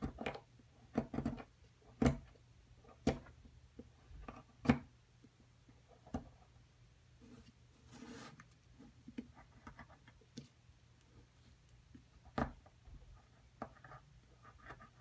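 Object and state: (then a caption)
Plaster block being scraped. A small metal spatula scrapes plaster off the top edge of a solid white plaster excavation block resting on a dark table, steadied by a hand with long purple nails. Quiet, irregular scrapes and short, sharp ticks come in scattered bursts, with a longer gritty rasp midway. Each contact dies away almost instantly.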